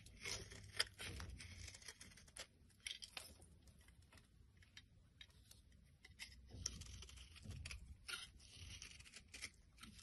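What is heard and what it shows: A metal blade scrapes brittle flakes off a solid white bar of soap. The result is a quiet, bright, crackling and crumbly scraping sound that comes in short, irregular bursts over a faint low rumble.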